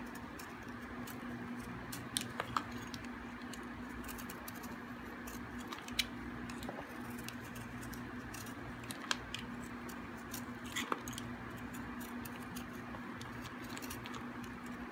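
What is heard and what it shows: A solid, hard, dry green bar of soap is carved with a metal blade, flakes cracking off. Soft scraping runs over a steady low hum, broken by sharp, bright clicks and snaps as the flakes break away.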